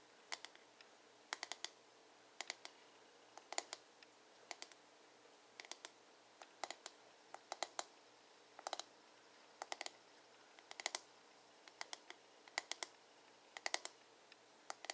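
Short nails tap and scratch the curved, glossy blue plastic back of a hollow paddle hairbrush. Quick, dry, bright clicks come in small irregular clusters with quiet pauses between them, and each click dies away almost instantly.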